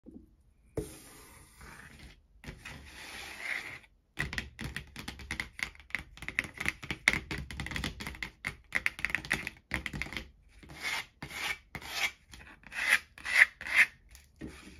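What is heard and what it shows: Fingertips and long, almond-shaped painted nails rub and scratch across a flat, thin, empty brown corrugated cardboard sheet with a torn edge, lying on a dark table. The result is a quiet, bright, papery scratching in rapid, irregular bursts of short, dry taps and scrapes that stop dead without ringing, with a few brief silent pauses between strokes.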